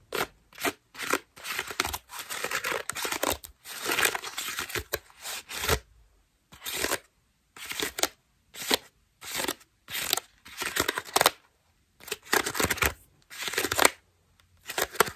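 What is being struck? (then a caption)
Foam bath loofah. A cream foam bath loofah is held close while long nails scratch and crunch its ruffled foam petals. Short bursts of dry, crackly scratching come with brief silences between them, spanning mid to bright high tones with almost no low end.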